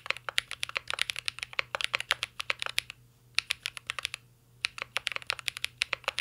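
A mint-green Cyberboard R3 mechanical keyboard with a metal case and plastic keycaps is typed on with the fingertips in a steady run of about 40 quick taps. Each keystroke is a short, bright, dry click that dies away almost at once, with two brief pauses in the typing near the middle of the clip.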